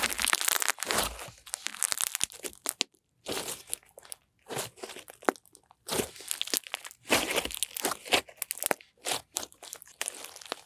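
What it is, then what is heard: Pink slime. Pink slime is stretched downward, then folded and squeezed in both hands. It makes bursts of bright, crunchy crackling and sticky popping, separated by short silent gaps.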